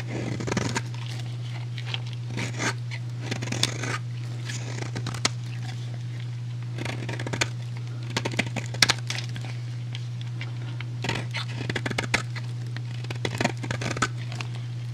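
A metal utility blade scrapes and cuts across a solid, rectangular, hand-sized purple soap bar, shaving off curls and flakes. Bursts of bright, crackly scraping come in clusters over a steady low hum. The sound ends with the soap shaved into curls and flakes.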